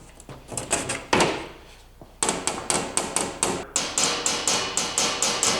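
A steel door panel on a 1949 Ford with a BMW chassis swap is tapped repeatedly with a hammer after a sheet of Dynamat sound-deadening mat has been rolled onto it. Each tap is a short, sharp knock that dies away quickly. The damped panel gives a dull thud, a big difference from the bare metal.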